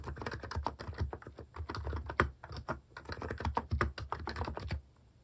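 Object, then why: Keyboard with plastic keycaps. Fingertips type steadily on a plastic keycap mechanical keyboard, producing a quick, continuous stream of muted, low clacks. The typing stops just before the end, leaving a short quiet tail.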